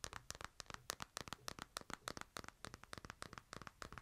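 A smartphone in a plastic case is held upright in both hands while fingernails tap and scratch across the case and the glass. The result is a quiet, rapid, uneven run of short, dry clicks with a bright, crisp top, each one dying out almost instantly, with faint scratchy texture between them.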